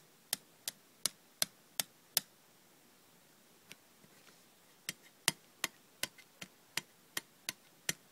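Long red nails tap the lid edge and the inside of a small, hollow, hinged aluminium cough drop tin, which is opened near the end. About sixteen sharp, bright, clicky taps are heard with almost no ring: a steady run at first, a quieter pause with a few faint taps in the middle, then another series of crisp taps.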